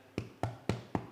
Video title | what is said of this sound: How to bake a Marmite & Walnut Bread & turn into the best grilled cheese Masterclass Episode36 | that sounds like a good loaf and phil listen how crispy that is and that's because we've trapped it inside the pan